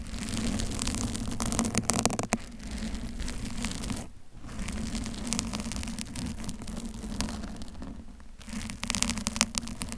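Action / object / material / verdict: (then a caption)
scrape / foam microphone cover / foam / none. Long pointed acrylic nails on both hands scratch and rub the lower front of a hollow, soft pink foam bear-shaped cover over a Blue Yeti microphone, with a blue cover beside it left untouched. The result is a dense, continuous rustling scratch with a low hum near 227 Hz beneath bright crackling texture. It briefly drops out just after four seconds and again around eight and a half seconds.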